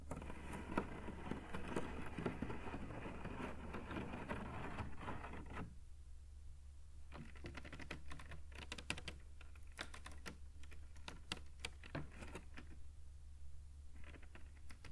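Fingertips behind a thin woven rattan cane webbing panel with open holes tap and scratch the weave. A dense, busy scratching rustle fills the first few seconds, then gives way to scattered soft, dry taps and clicks. A steady low hum runs underneath throughout.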